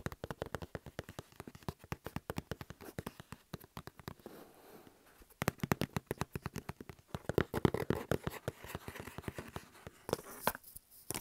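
Fingertips and nails tap and scratch across the paper shipping label of a medium hollow cardboard shipping box lying flat on a table, with an earphone mic cable resting on top. Rapid, quiet, dull taps with very short decay run throughout, giving way to softer scratching for a moment midway before denser tapping and rustling scratches return.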